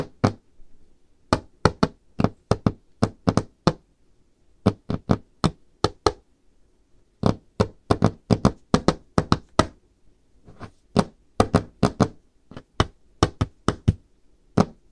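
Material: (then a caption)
Wood. Long painted fingernails on both hands, with rings worn on the fingers, tap a flat solid wooden tabletop with a dark varnished finish. Quick, dry knocks come in irregular bursts and clusters, each a short click with a dull low thud beneath it that dies away almost at once. Brief quiet gaps separate the runs of tapping.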